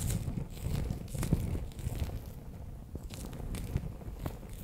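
A palm-sized, bear-shaped clear plastic pouch, sealed and full of orange water beads, is held in both hands while nails and fingertips tap and press its front surface. The result is a steady run of soft, low, squishy crinkles and muffled taps, with a few sharper clicks standing out.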